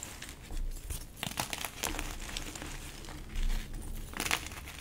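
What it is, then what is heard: Gym chalk block being crumbled. Bare hands crush and crumble pieces of an orange-dyed gym chalk slab with glitter on a tiled floor, grinding the solid chunks into soft powder. Dry crinkly crunches and gritty crumbling mix with dull low thumps, with a fuller crushing swell just past the midpoint and a sharp bright crack near the end.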